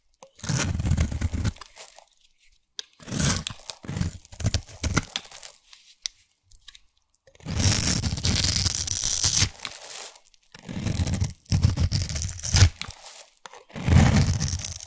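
A solid pink embossed soap bar, held in a hand with long white nails, has its edge scraped with a black abrasive blade tool, shaving off curls and crumbs. Bursts of dense, gritty crunching and tearing alternate with short pauses, with a heavy low rasp and bright crackly texture on top.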